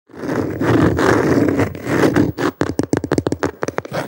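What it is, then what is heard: Plastic cutting board. A medium-sized, thin, solid white plastic cutting board with a handle cutout is held upright and worked with the fingertips and short nails of both hands. Steady, dense scratching comes first, then a quick run of separate, sharp taps with short, dry decays.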